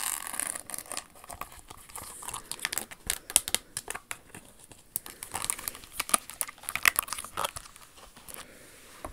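Long acrylic nails tap and scratch a single silver Jimmy Choo high-heel pump covered in rhinestones, with a large crystal bow on the toe and a leather sole. Quick, bright, dry clicks mix with crinkly high-pitched scratching over the crystals and the sole, with no ring after each tap.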